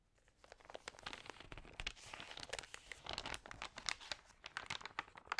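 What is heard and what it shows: Fingertips and long nails rub and turn the thin, crinkly pages of an open glossy paper magazine. A dense run of bright, dry crinkles and sharp paper snaps rises from a quiet start and keeps going throughout, with little low end and almost no ring after each crackle.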